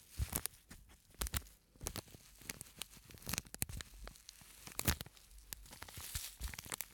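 Fingers squeeze and rub a small, flat, purple-and-white printed plastic scent sachet with a sandy filling, held up close to a microphone. The result is a crinkly, sandy rustle of sharp, bright crackles and soft low thumps, with a few louder bursts along the way.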